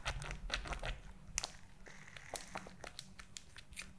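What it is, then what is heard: Glitter gel squishy toy with beads. Long nails tap and scratch the pink beads and purple glitter silicone gel of a squishy toy held above the mic. The result is a quick, irregular stream of crisp, bright clicks and crinkly scratches over a steady low hum.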